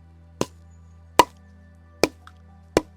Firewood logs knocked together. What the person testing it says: on a un bruit qui sonne un peu creux et donc là, on est sur un bois sec